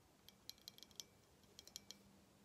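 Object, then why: Small hollow glass ornament. A small, apparently hollow glass Christmas ornament shaped as a clear and gold figurine is held up in both hands and tapped with fingernails. The result is two short runs of light, sharp clicks with a bright, glassy tick that dies away almost instantly, over a faint low hum.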